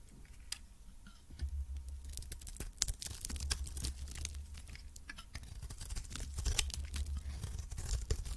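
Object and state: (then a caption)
Coated soap bar being scraped. A metal blade scrapes shavings off a hand-held oval solid soap bar with a yellow coating and white interior. Dense, dry crunching and scratchy clicks with bright crackle sit over a steady low rumble, growing busier and louder after the first second.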